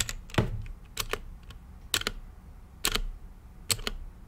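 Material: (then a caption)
Plastic. Fingertips type on a mechanical keyboard with plastic keycaps and a translucent lit case. Crisp, bright clacks come in short, spaced bursts, often as quick pairs, each with a low thock beneath and a very short ring, over a faint low background hum.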